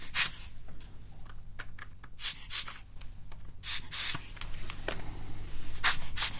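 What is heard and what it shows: A full-size plastic mechanical-style gaming keyboard is held up in both hands while a small brush or tool is scrubbed and rubbed between its keys. Irregular bursts of bright, hissy scratching come and go over a steady low hum, with faint clicks in between.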